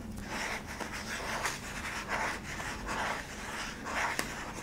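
Long nails scratch the flat yellow plastic base and rim of a hollow cylindrical sweetener tub. Soft, breathy scraping swishes repeat unevenly, bright in the middle range. One sharp tick near the end stands out over a steady low hum.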